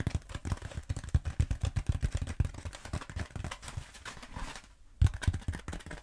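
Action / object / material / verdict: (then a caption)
tap / textured foam roller / foam / none. Long acrylic nails rapidly tap and scratch a long black textured foam roller held horizontally. The result is a dense run of soft, dull, low thuds mixed with faint scratchy rustling. The sound briefly drops to near silence just before the five-second mark, then the tapping resumes with a few louder knocks.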